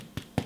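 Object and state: Hollow-sounding bread loaf, baked through.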